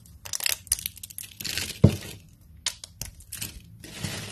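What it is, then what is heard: Dry soap shavings. Both hands crush, bend and snap a pile of thin, brittle, translucent dry amber soap strips with fingertips and short pink nails. The result is a string of crisp, bright crackles and crunches, with one sharper snap near the middle, as the pile breaks down into fine flakes.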